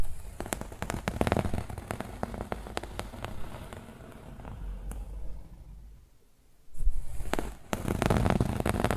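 Fingernails rapidly scratch the grey fabric of a rolled yellow and grey woven fabric pillow, making a dense, crackling scratch with sharp, bright clicks over a low rumble. The scratching thins to a soft hush partway through, then returns louder and busier.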